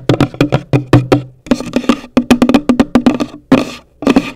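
Long nails tap the top of a hollow, pale green cardboard gift box in quick, uneven runs of about twenty-one taps. Each tap is a short, dry knock with a hollow low body that dies away almost at once, and the last couple of strokes turn scratchier and brighter.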